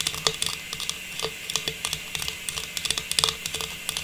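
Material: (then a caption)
Plastic. A small, hollow, faceted star tree topper of silver metallized plastic is held in both hands and tapped rapidly with long pink nails. A quick, uneven run of bright, crisp plastic clicks plays over a faint steady hiss, each tap dying away almost instantly with no ring.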